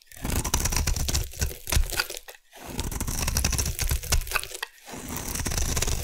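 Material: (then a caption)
Soap. A solid light green bar of soap held in the hand is carved into curls with a metal blade. Dense, crisp scraping and crunching crackles run in three long passes separated by brief pauses, over a heavy low rumble with a bright crinkly edge.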